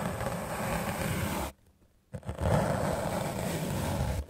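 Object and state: Melamine foam sponge being brushed.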